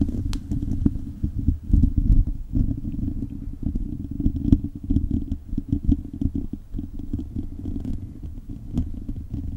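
The fingertips and short nails of both hands scratch across a hollow, silver metal mesh microphone grille. The result is a dense, continuous, low rumbling scratch centered around 90 Hz, with quick crackly ticks and faint bright clicks scattered throughout.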